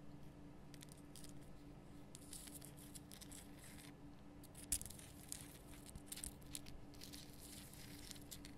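A large, lit pink Himalayan rock salt lamp of solid, rough salt is cupped in the hands while long nails tap and click across it. Soft, bright scratchy clicks and a few sharper taps sit over a steady low hum. The tapping stays quiet throughout.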